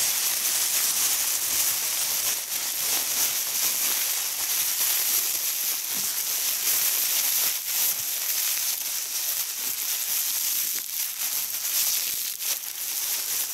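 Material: Nothing is struck.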